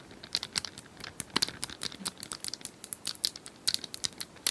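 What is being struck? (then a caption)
Small plastic cylindrical puzzle toy. Long nails tap and scratch a small, likely hollow plastic cylindrical puzzle toy with colored tiles. The result is a quick, uneven run of sharp, bright clicks with dry scratchy rasps between them, almost no low end and no ring after each tap.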